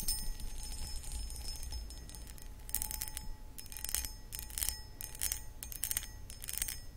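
Long acrylic nails scratch and tap the sides of a medium-sized, empty, hollow clear cut glass pedestal bowl. Bright, gritty scratching bursts come in uneven clusters, with faint sustained glassy tones over a steady low rumble. Each tap dies away quickly.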